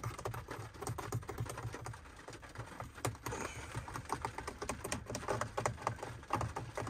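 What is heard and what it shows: Fingertips tap quickly on the hard plastic button panel fixed below a car's dashboard screen, with rain on the windshield. Dense, dry clicks in rapid bursts sit over a steady low rumble, and each click dies away almost at once.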